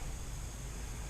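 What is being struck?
Nothing is struck.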